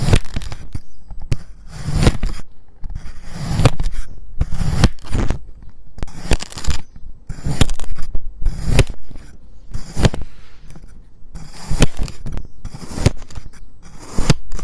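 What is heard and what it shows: A white ceramic knife fitted with a clip-on mic slices the same pink kinetic sand disc further into strips. Repeated soft, crunchy cutting and scraping strokes carry a deep low thump beneath a faint gritty hiss, each one dying away quickly.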